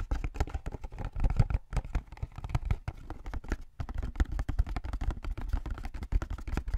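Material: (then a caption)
Cardboard. Fingertips tap and scratch the sides of a small blue and white cardboard drink carton held upright beside the microphone; it appears hollow, though whether it is full or empty is unclear. A quick, dense run of short, dull, low thuds with very little ring is mixed with soft scratching, broken by brief pauses near 1.7 and 3.7 seconds.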